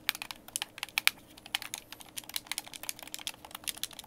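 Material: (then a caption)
Plastic. Fingertips tap and click the buttons and thumbsticks of a white, hand-sized, hollow plastic Xbox game controller held in both hands. About two dozen quick, dry, bright clicks come in an uneven, rapid stream over four seconds, each one dying away almost instantly, with almost no low end.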